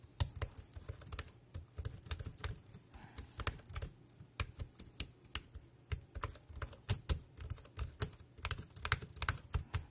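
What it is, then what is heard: Plastic keyboard being typed on. Fingertips type on the keys of a dark grey plastic compact wireless keyboard. The result is a steady, uneven run of short, dry clacks, each with a low thump and a bright click on top that stops almost at once.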